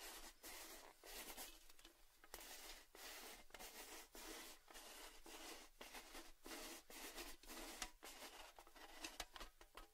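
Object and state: Metal tin canister with lid.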